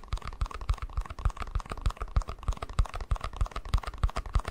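A small, hollow, empty white plastic cup is held in one hand and tapped and scratched with the fingertips and nails of the other. The result is a quick, uneven run of soft, dull, low thumps that die away almost at once, mixed with light, crackly scratching.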